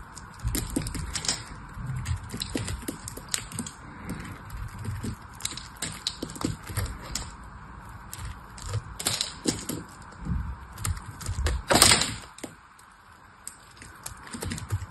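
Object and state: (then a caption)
Dry soap bar carved with a knife. A metal knife carves the corners off a dry, hand-held solid cream soap bar, producing crunchy shavings. Bursts of crisp, bright crunching and crackling scrapes come in quick succession over a faint steady hiss. The loudest cut comes near the end before the sound fades to quieter scraping.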